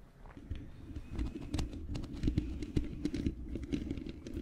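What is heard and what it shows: Long painted fingernails of both hands scratch and tap on the bare black metal mesh grille of a large hollow USB microphone with no windscreen. A steady stream of dull, boomy low thumps is heard, with short scratchy ticks and brief sharp clicks on top and almost no ring after each touch.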